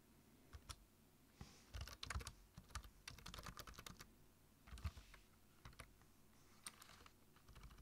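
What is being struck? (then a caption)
Plastic computer keyboard. Fingertips tap the keys of a black plastic low-profile computer keyboard while typing, giving irregular bursts of short, dry clicks with soft thuds underneath. Fast clusters of keystrokes alternate with brief pauses and scattered single taps.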